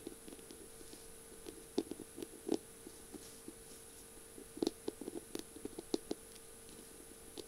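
Long purple nails tap and scratch the thin barrel of a feather pen decorated with beads and mirror tiles and topped with a pink feather. The sound is a quiet, irregular series of short, dry clicks and light scratches, with a few sharper taps standing out. A faint steady hum and a thin high whine sit underneath throughout.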